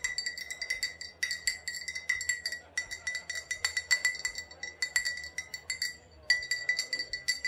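An old glass bottle with a faded sticker, holding either vodka or rubbing alcohol, is tapped and clinked in a long, rapid series of light hits. Each tap gives a short, bright glassy ping centred near 2 kHz with high overtones and almost no ring. There are brief pauses between bursts of tapping.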